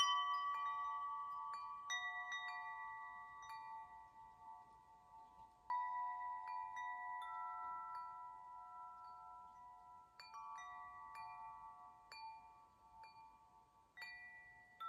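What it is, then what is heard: Metal tube wind chime. Fingers tap and nudge the long hollow metal tubes of a wind chime hanging from a small crossbar. Each strike sets off clear, sustained bell-like tones around 1 kHz with bright overtones. The tones overlap and slowly fade before the next gentle strike.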